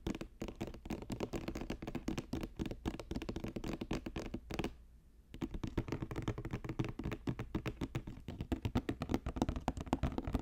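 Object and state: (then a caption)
Woven basket. A woven basket is tapped quickly with the fingers, producing a dense stream of dry, soft, low-heavy taps with very little ring. The tapping pauses briefly around the middle, then resumes at the same fast pace.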